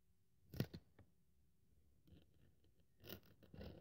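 A craft knife blade is drawn through a thin white polyethylene foam sheet on a wooden table, held by fingertips with long nails, cutting it into strips. Quiet scratchy cutting sounds come in bursts: a sharp scrape near the start, a faint softer stretch, then a louder rasping cut toward the end.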